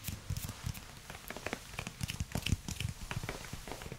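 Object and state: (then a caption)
Silicone spatula tapped. Fingernails and fingertips tap on the head and long grey handle of a solid pink silicone spatula, making quick, irregular soft taps. Each tap is a short, dull thud with a brief bright click that dies away almost at once over a faint background hiss.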